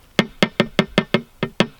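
Eight evenly spaced knocks on an old glass fish tank, tested to tell whether it was plexiglass or glass. Each knock is a short, dull tap with a low tone around 210 Hz that dies away almost at once. The tank is confirmed to be glass, not plexiglass.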